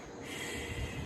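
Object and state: Nothing is struck.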